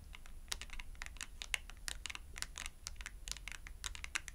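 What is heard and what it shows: Long acrylic nails tap rapidly on a thin cardstock clothing price tag held upright between both hands. The taps are quick, crisp and bright, with dry clicks that stop instantly and a faint low hum underneath. The result is a steady, quiet patter much like light typing.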